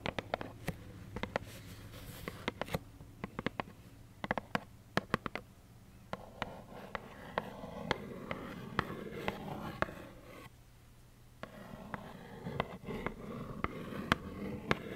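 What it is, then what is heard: Cardboard tissue box. A small plaid cardboard tissue box filled with tissues is tapped with long nails, giving short, dry, hollow clicks that die away almost at once. The taps come in uneven clusters over a low, steady background hum, with a brief quieter pause near the eleventh second before the tapping resumes.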